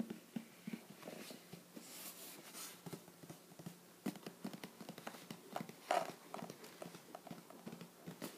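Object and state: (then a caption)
Cardboard box tapped. A closed, shoebox-sized teal printed cardboard "Treats" subscription box is held and tilted while fingertips tap its lid and sides. The result is a quick, irregular run of soft, hollow, dry taps with a mid-pitched knock and almost no ring. Whether the box is full is not shown.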